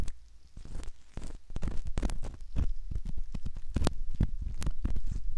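A metal ear pick scratches inside the canal opening of a soft silicone ear model, making close, dull scraping and rubbing sounds. The scrapes come in many short, soft bursts of uneven loudness. Most of the sound sits in a low rumble, with brief brighter scratchy edges.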